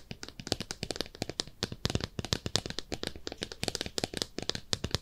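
A small, hollow and empty pink speckled ceramic soap dish shaped like a bathtub is tapped rapidly with long nails. The result is a dense run of short, bright clicks and ticks with very little ring, and the taps come in quick, uneven bursts throughout.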